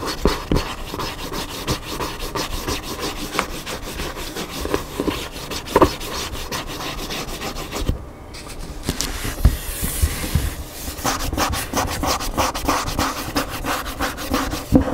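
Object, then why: Paper hardcover book. Fingertips and nails scratch the cover, spine and solid edge of the paper pages of a large hardcover cookbook, first lying flat and then stood upright. Steady dry rubbing and scratching runs throughout, with frequent small taps and a low rumble underneath. It briefly drops quieter around the middle before a brighter, hissier scraping picks up again.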